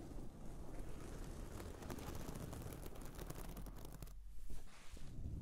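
A hand rubs across a soft pillow covered in reversible pink and white sequin fabric, making a steady, dense rustling and scratching over a low rumble. After about four seconds the brighter rustle briefly drops away, then long painted nails rest on the top and scratch it in short, uneven strokes.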